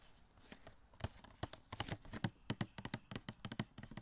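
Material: Cardboard.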